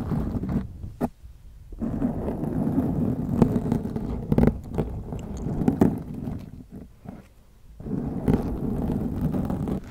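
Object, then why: Foam microphone windscreen. Long acrylic nails scratch both sides of a black foam windscreen on a white microphone, making a dense, muffled low scraping and rustling with occasional sharp clicks. The scratching eases into quieter pauses around one second and again near seven seconds, then picks back up.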